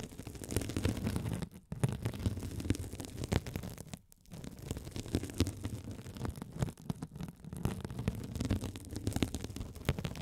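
A rolling gold metal spiked roller scratches a hand-sized blue glitter mesh scouring sponge, with a soft, solid body and a sparkly woven mesh cover, held over the microphones. The result is a dense, continuous, low rumbling scratch with faint brighter crackle, broken by brief pauses near 1.7 and 4.1 seconds.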